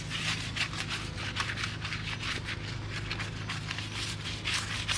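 A gloved hand scrubs the rim face and lug area of a foam-covered, pressed-steel wheel with round vent holes, mounted on a 1993 Honda Civic Hatchback, using a small detailing brush through wet foam. The result is a steady run of bright, bristly scrubbing strokes over a low, constant hum.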